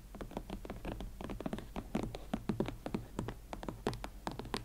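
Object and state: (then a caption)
Leather platform boots. Long nails scratch and tap the leather uppers of a pair of hot pink Valentino Club Platform leather boots held against the body. The result is a dense run of short, dry taps and scratchy brushes over a steady low hum, each tap dying away almost at once.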